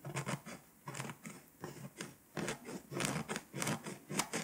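A pink scraper scratches the foil coating on a flat, foil-coated paper scratch-off map, held by a hand with long nails. Quick, irregular scraping strokes give off dry, bright rasps with a low papery rustle, each stroke ending almost instantly.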